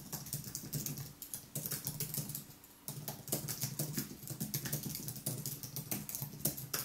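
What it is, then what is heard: Aluminium and plastic keyboard being typed on. Fingertips type continuously on the white plastic keys of a thin aluminium wireless keyboard. The result is a steady, rapid stream of soft, bright key clicks with a low thud under each press. The clicks die away almost instantly, and there is a brief lull just before the three-second mark.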